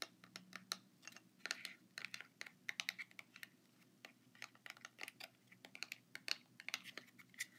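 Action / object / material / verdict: tap / small cardboard product box / cardboard / none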